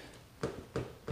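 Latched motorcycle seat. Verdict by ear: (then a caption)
Loose. A latched Yamaha FZ-09/MT-09 OEM comfort seat, held by a single latch at the back, is shaken on the motorcycle and rattles with three short, dull knocks carrying a midrange tone. The loose rattle makes it uncertain whether the seat is fully down and latched when no rider's weight is pressing on it.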